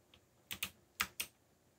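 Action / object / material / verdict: tap / plastic mechanical keyboard keys / plastic / none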